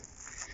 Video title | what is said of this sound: Beadlet Anemone | you can hear how crispy it is to walk on as it gets dry